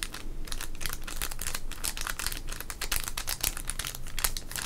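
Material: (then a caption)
Wax paper. A small, sealed red 1991 Topps wax-paper baseball card pack, full of cards, is crinkled and rubbed with the fingertips of both hands. The result is a steady run of dense, bright crackles and dry rustling, with sharper snaps standing out here and there.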